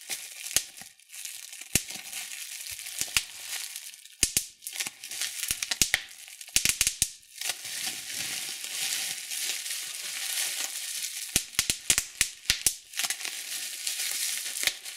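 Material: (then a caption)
Plastic. Clear plastic bubble wrap with small air-filled bubbles is crumpled in both hands and pinched with the thumbs to pop it. A steady, bright crinkling hiss runs throughout, broken by many sharp, quick pops that come in bursts and die away almost instantly.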